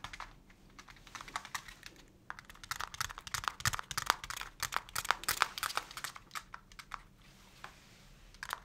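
Fingertips tap a small translucent plastic pot holding a young potted plant, held in both hands. The result is a rapid, irregular run of light, dry clicks centred around 1.2 kHz with bright edges, possibly with a slight rustle of the leaves.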